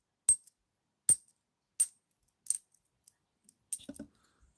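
A bimetallic £2 coin is dropped repeatedly for comparison, giving four bright, high-pitched metallic clinks with very short ring, followed by a few smaller bounces and a final rattling cluster. The coin sounds normal.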